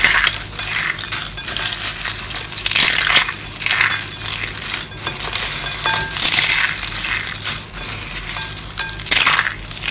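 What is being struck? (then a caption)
Dry rolled soap curls. Hollow rolled dry soap curls, mostly pink and yellow, are scooped up and crushed between the hands and fingers with long nails over a bowl of soap pieces. The crushing and rubbing make a dense, bright, crackling crunch with tiny clinking snaps, swelling and easing in waves with almost no low end.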